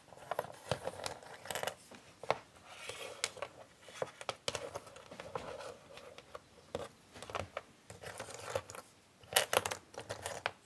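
Both hands with long painted nails spread and shuffle a pile of small, thin, solid cardboard jigsaw puzzle pieces across a flat grey puzzle board. Dry, bright scraping and rustling are dotted with many sharp nail taps and clicks, with almost no low end. The bursts come in uneven waves and fade quickly between strokes.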